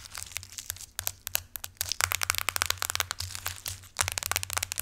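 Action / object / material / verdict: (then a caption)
tap / aluminum smartphone back / aluminum / none. Long acrylic nails tap and scratch the solid aluminum back of a silver iPhone lying face down. Rapid, dry, bright clicks and scratchy scrapes come in dense bursts with brief pauses, each tap dying out almost instantly over a faint low hum.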